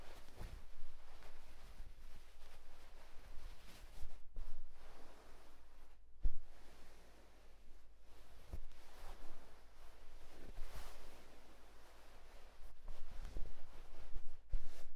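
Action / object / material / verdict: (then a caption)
scrape / cotton terry towel / cotton / none. Fingertips rub and scratch a white cotton terry towel spread on a bed, making a soft, quiet, fuzzy scraping with a steady low hum underneath. The scratching comes in uneven bursts, with a few brief sharper touches standing out.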